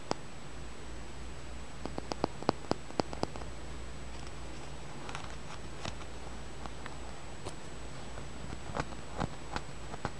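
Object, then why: Small tumbled amethyst stone. A small, solid, purple tumbled amethyst is held between the fingers and tapped and scratched with the fingernails. Scattered sharp, dry clicks and faint scratching sound over a quiet, steady low hum and a faint high whine, in bursts near the start and again toward the end.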